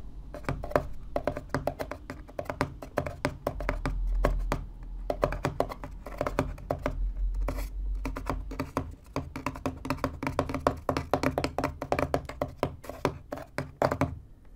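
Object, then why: Corrugated cardboard box. Fingertips tap and knock rapidly on the top panel of a small, empty, hollow corrugated cardboard box with open flaps lying on a white desk. The hits come as dense bursts of short, dry, hollow thuds with a low body and quick decay, occasionally under a soft low rumble.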